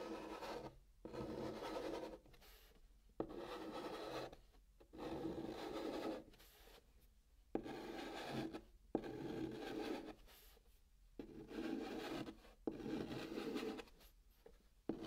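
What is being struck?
Chalk on cardboard box.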